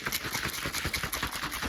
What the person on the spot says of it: you can hear them chocolate pieces hitting the top